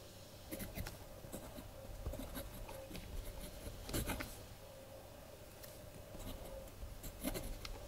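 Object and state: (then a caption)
Pen writing on a paper journal page. A blue ballpoint pen scratches across the collaged paper pages of a spiral-bound kraft paper journal lying flat, with a hand resting beside it. Soft, dry scratching strokes come in short bursts with bright, brief clicks over a low, steady hum.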